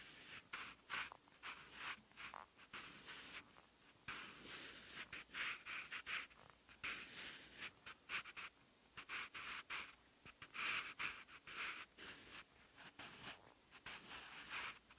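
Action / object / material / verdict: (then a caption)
scrape / graphite pencil on textured notebook paper / paper / none. A sharpened wooden graphite pencil writes Korean handwriting across the lined, textured cream paper of an open notebook lying on a brown surface. Its tip makes bright, dry scratching strokes in quick bursts, with brief quiet gaps between them. The sound has almost no low end.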